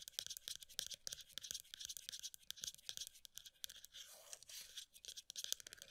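Long nails rapidly tap and scratch the side and lid rim of a plastic body butter tub with a pale green body and black lid, held in both hands. Dozens of quick, bright, dry clicks follow one another with almost no low end, broken near the middle by a longer scratchy rasp before the fast tapping resumes.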